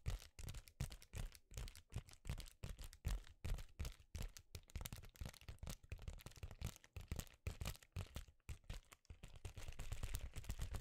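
A flexible sheet of reflective foil bubble insulation is held in both hands and tapped and scratched with the fingers, giving quick, irregular crackly taps with dull low thumps and a bright crinkling edge. Near the end, the tapping blends into a steadier, denser scratching crackle.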